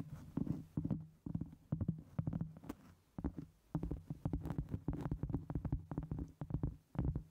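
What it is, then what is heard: Cork board tapped and scratched. Long almond-shaped acrylic nails tap and scratch the top of a solid, round, flat cork board or trivet, about 25 cm across and 1 cm thick, held over the microphone. The result is clusters of quick, dull, low-pitched thumps with a soft scratchy rustle, close and muffled, with no ring after each tap.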